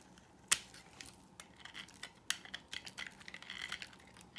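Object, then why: Bar of soap cut with a blade. A dry, solid white oval bar of soap is cut down with a utility knife blade into thin slices and shavings. A sharp crack opens the clip, followed by a second strong snap and a run of quieter, bright scraping and crumbling sounds as the shavings come away.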